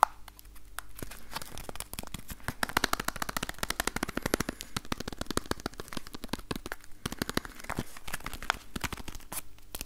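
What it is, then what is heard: Cardboard box. A small, rectangular, yellow printed box, likely hollow cardboard, is held in one hand and tapped with the fingertips of the other in front of a Tascam recorder. Rapid, dense, dry taps and crinkly scratches sound with no ringing, forming a steady stream of quick clicks with brief pauses.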